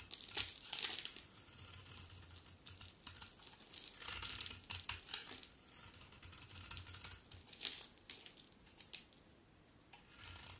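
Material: Soap.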